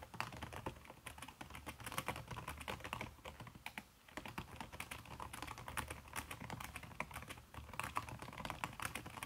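Fingertips with long red-painted nails type fast on a backlit aluminium laptop keyboard whose plastic keys are covered by a red silicone skin. A quick, steady stream of soft, slightly muffled key taps with sharp brief clicks continues throughout, with a short lull around four seconds.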